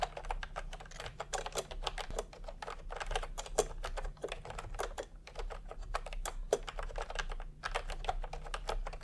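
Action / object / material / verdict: tap / plastic computer keyboard / plastic / none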